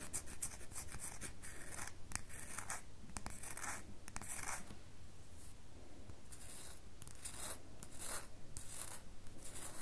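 Long fingernails rub and scratch a solid red bar of soap, making quiet, dry, bright scratching strokes in quick irregular bursts. A steady low hum runs underneath throughout.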